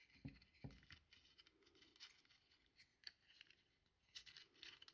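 A small, hollow white plastic bayonet lamp holder is held in one hand while the fingertips twist and rub its plastic shade ring and collar. The result is quiet, bright scraping clicks and patter, with two firmer, fuller knocks near the start, all dying away almost instantly.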